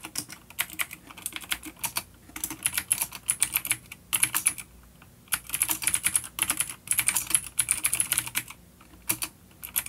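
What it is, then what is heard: Vintage clicky mechanical keyboard. Fingertips of both hands type on a full-size dark plastic vintage mechanical keyboard with clicky blue switches and grey keycaps, resting on a wooden desk. Rapid, bright, clicky keystrokes come in bursts separated by brief pauses, with a high metallic click ringing over each press and very little low end.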